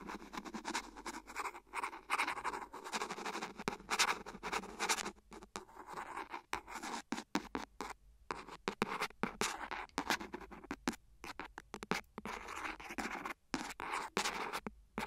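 A thin, hollow, empty transparent silicone phone case resting on the recorder is scratched and tapped with the metal tip of a clear plastic ballpoint pen. The result is dense, rapid, dry scratching broken by quick taps and short pauses, bright and crisp with almost no low end and very little ring.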